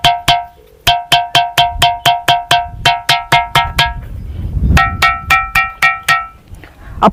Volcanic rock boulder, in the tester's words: या दगडांमध्ये घंटेच्या नादासारखा आपल्याला या ठिकाणी आवाज येतोय घंटेचा जसा निनाद होतो तसा निनाद या ठिकाणी आपल्याला ऐकायला येतो